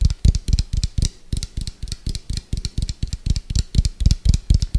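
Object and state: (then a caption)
Plastic food container. An orange hollow round plastic food container with a white lid is tapped fast on its side with fingertips and nails. A rapid, uneven run of short, dull knocks sounds, each deep and hollow with a faint bright click on top. The taps die away almost instantly.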